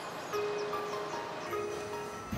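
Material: Nothing is struck.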